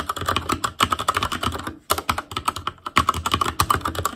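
Fingertips of both hands type rapidly on a full-size ASUS ROG Claymore Core mechanical keyboard with plastic keycaps on Cherry MX Red switches, a metal plate, a hollow case and RGB backlight. A fast, steady stream of short clacky key taps with a bright, plasticky click centered around 1.1 kHz pauses briefly twice before resuming.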